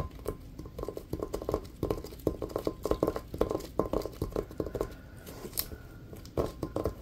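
Latex-gloved fingertips tap quickly across the surface of a hollow, inflated rubber basketball with a checkered print. The result is a fast, uneven patter of soft, dull taps with a hollow mid-range tone, each dying away almost at once.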